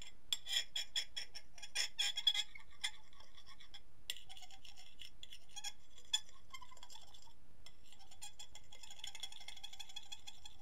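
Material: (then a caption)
Ceramic. The metal tines of a fork are rapidly tapped and scraped across the surface of an empty white ceramic plate held on a lap. Quick, bright clinks with a ringing tone around 3.4 kHz cluster densely in the first few seconds, then give way to softer, continuous scratchy scraping with occasional sharper taps. The overall level stays quiet and close.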